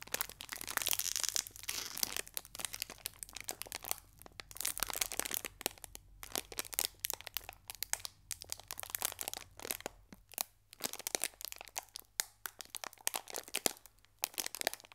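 A small green metallized foil wrapper holding a biscuit is pulled and creased by fingertips and short nails, giving a continuous run of sharp, bright crinkles and crackles. Dense bursts come in uneven clusters with short quiet gaps between them over about fifteen seconds.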